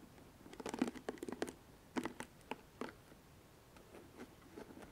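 A pink plastic paddle hairbrush is held bristles up while long nails scratch and pluck the plastic pins set in its rubber cushion. Quiet, dry, bright ticks and scratchy flicks come in quick clusters that die away almost instantly. They are busiest through the first three seconds, then grow softer and sparser.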